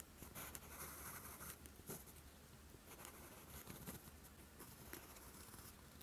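A steel fountain pen nib, held in the fingers, is drawn across a flat sheet of lined writing paper on a desk as it writes Korean letters in green ink. The nib scratches the paper surface in a soft, continuous stream of dry, bright scratching strokes with short stroke bursts. A low steady hum sits underneath.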